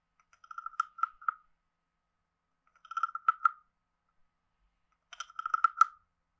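A palm-sized, hollow, carved reddish-brown wooden frog guiro is held in one hand while a wooden stick is scraped along its back ridges and tapped on its head. Three short bursts of quick, dry ratcheting clicks come through, each built around a woody, croak-like tone near 1.3 kHz with bright click edges. Quiet gaps separate the bursts.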